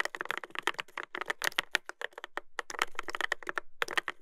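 A Dolphin 2021 mechanical keyboard with a brass plate and plastic keycaps is typed on continuously with fingertips. Rapid, dense, clacky keystrokes sound with a bright, tonal click near 1.8 kHz and almost no ring. The rhythm pauses briefly in the middle before resuming.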